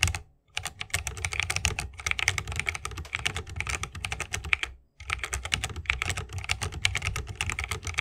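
Fingertips of both hands type continuously on a 60% mechanical keyboard with plastic keycaps and tactile Holy Panda switches, set in a bamboo wooden case. A rapid run of short, bright, clacky keystrokes sits over a deeper thock, with each strike dying away instantly. The typing breaks off twice briefly, near the start and about midway, before resuming.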